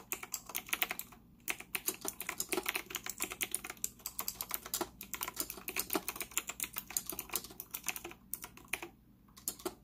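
Fingertips type rapidly on a white retro typewriter-style mechanical keyboard with round plastic keycaps and an integrated stand, its hollow case resting on a desk in front of a laptop. Dense, bright plastic clicks and clacks come in quick bursts, each dying almost instantly, with brief pauses near the start and end.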